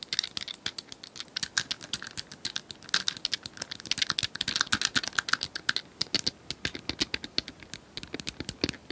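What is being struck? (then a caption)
Small plastic cylindrical puzzle toy. Long nails tap fast on a small plastic cylindrical puzzle toy with colored tiles, likely hollow, as the hands move quickly over it. The result is a dense, steady stream of sharp, bright plastic clicks with almost no low end and no ring after each tap.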